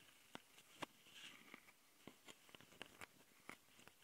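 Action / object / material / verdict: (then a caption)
scrape / plastic handheld recorder with metal-mesh mic capsules / metal mesh / none. Long painted nails of both hands scratch the metal-mesh mic capsules of a small, hollow plastic Tascam handheld audio recorder. About nine sharp, bright ticks and scratchy clicks stand out over a soft, hissy scraping bed, each one dry and very short with almost no ring. The overall sound is quiet and thin, with little low end.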